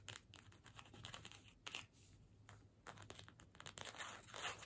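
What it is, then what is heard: Cardstock paper gift tag. A small, flat cardstock gift tag printed "Season's Greetings" with holly, on a string, is held in the hands and scratched and tapped with long pointed nails. Quiet, bright, papery scratching and crinkly taps come in short, irregular bursts over a faint low hum.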